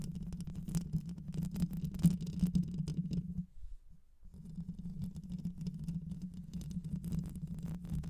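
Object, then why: Metal mesh microphone grille. Long white nails scratch and tap the rounded metal mesh grille of a black microphone with a hollow head. The result is a dense, low, rumbling scratch with a steady hum underneath. It briefly drops away for about half a second before the scratching resumes.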